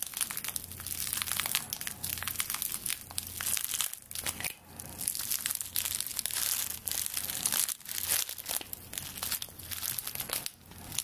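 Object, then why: Bundle of dry straw stalks. Long nails scratch and crush-rub the dry straw stalks of a straw broom, bound with twine, close to the microphone. The result is a dense, bright, crackling crunch that runs nearly continuously for about eleven seconds, with a few brief quiet dips and a faint low hum underneath.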